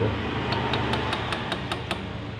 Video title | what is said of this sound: Kehabisan Oli Mesin dan Efeknya//Piston Knok out//Ring Piston Aus//Stang Piston Oblak//Liner Baret | ini ada dentingan. Nah itu ada dentingan.